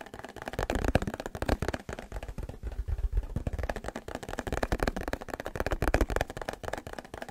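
A small white plastic butter tub with a green label, held in both hands, is tapped and scratched with the fingertips and nails. The result is a steady stream of rapid, dry clicks and taps with short hollow thuds and no ring, broken by a brief softer patch of scratching around the middle.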